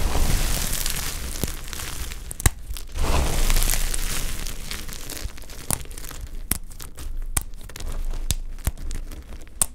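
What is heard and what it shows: Fingertips and nails scoop, squeeze and rub handfuls of brittle, dry olive-green soap chips from a pile. The result is a continuous dry crumbling and crunching rustle in waves, punctuated by sharp, bright crackling snaps as the solid pieces break apart.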